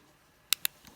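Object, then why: Plastic action camera body. Two sharp, high-pitched taps on the black, slightly rubberized hard plastic edge of a DBPOWER HD waterproof action camera body. Each tap is a brief, dry click that dies away almost instantly, followed by a fainter tick.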